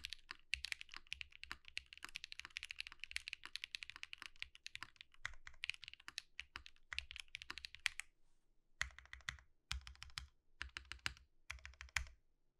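A compact Think6.5 V2 mechanical keyboard fitted with Zakus, with white plastic keycaps and an RGB-lit case, is typed on with the fingertips of both hands, producing a rapid stream of bright, crisp clacks with a light low thock under each press. Toward the end the typing slows to one hand pressing keys in short separated bursts with brief silences between them.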